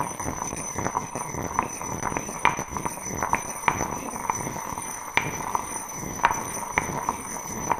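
A stone pestle knocks and grinds inside an empty, heavy, solid grey granite mortar held in one hand. Short, sharp knocks with a ringing tone near 960 Hz repeat over a continuous gritty scraping. Faint steady high tones run throughout.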